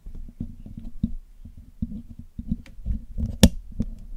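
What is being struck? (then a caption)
Metal mesh microphone grille. A thin metal needle pick and metal tweezers scratch and pick at the hollow black metal mesh grille of a Blue Yeti microphone while it is being cleaned. A close, low-heavy run of scraping ticks and soft taps is broken by a single louder, bright metallic click near the end.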